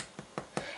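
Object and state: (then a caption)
Hollow-sounding baked bread loaf. Three taps on the bottom of a baked, cooled loaf of no-knead bread give short, dull knocks with an almost hollow tone. The hollow sound comes from lots of air bubbles inside, which is a good sign for the loaf.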